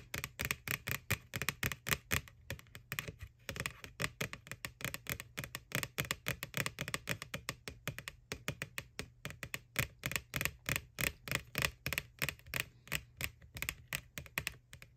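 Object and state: Hollow plastic candy bucket tapped with nails.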